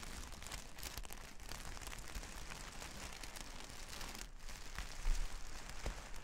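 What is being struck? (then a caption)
Plastic sequin fabric. Long red nails scratch and brush across a large, flat sheet of reversible plastic sequin fabric lying on a table. A steady, dense crinkling patter like light rain runs throughout, with a slightly louder scrape about five seconds in.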